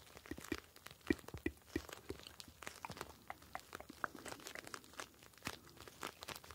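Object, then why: Plastic pouch filled with gel beads. Fingertips squeeze and rub a clear plastic gel bead ice pack, a pouch filled with blue gel beads. Soft, dense crinkling and crunching plays in quick irregular bursts, with a few short squeaky tones near 300 Hz early on. The sound stays quiet and close throughout, each crackle dying away almost instantly.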